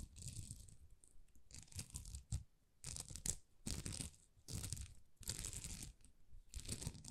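Long nails scratch across a thin, flexible plastic rhinestone sticker sheet of small plastic rhinestones. The result is repeated bursts of bright, crinkly rasping over a soft low rumble, separated by brief pauses.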